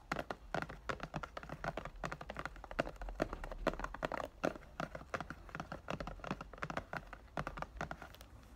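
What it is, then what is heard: Plastic-wrapped cardboard box. Fingertips tap rapidly on the back and sides of a rectangular cardboard "Thank U Next" perfume box, still in its clear plastic wrap and held in both hands. The result is a quick, dense run of short, dry, papery clicks with almost no ring, over a faint low hum.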